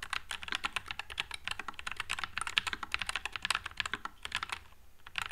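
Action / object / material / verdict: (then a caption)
tap / low-profile mechanical keyboard with plastic keycaps / plastic / none. A white low-profile Nuphy Air96 mechanical keyboard with Wisteria switches and plastic keycaps is typed on with the fingertips of one hand. A rapid, steady stream of short, bright clacks with very little low end follows, each keystroke dying away almost instantly.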